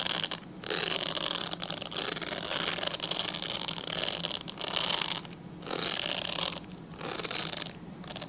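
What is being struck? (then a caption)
Glycerin soap bar. A palm-sized, translucent pale yellow bar of solid glycerin soap, held in both hands, is scratched along its surface with fingernails. The result is a bright, dry rasping in long continuous stretches, broken by a few short quieter pauses, over a faint steady low hum.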